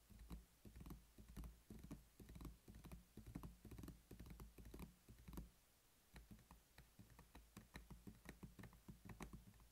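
A closed black hard-plastic weekly pill organizer, hollow and holding some capsules, lies flat on a table while both hands tap it rapidly with short-nailed fingertips. The result is a quiet, irregular patter of short, dull plastic taps with little ring, mostly low in tone. The tapping pauses briefly around the six-second mark before resuming.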